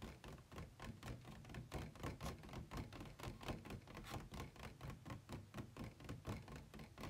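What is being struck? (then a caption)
Plastic packaging tray. Fingertips tap rapidly on an empty, hollow white plastic packaging insert tray resting on a bed, first inside it and then along its ribbed outer side. The taps are quick, soft, hollow knocks with a low, thuddy body and very little ring, coming at a fairly steady pace throughout.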